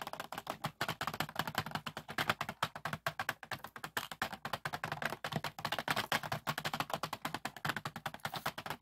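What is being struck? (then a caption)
Clear plastic compartment box of small beads. Fingertips of both hands rapidly tap on and hold the lid of a medium clear plastic compartment bead organizer box full of small pearl and acrylic beads. The result is a dense, steady stream of short, dry, bright clicks with almost no ring, while the beads rattle softly inside throughout.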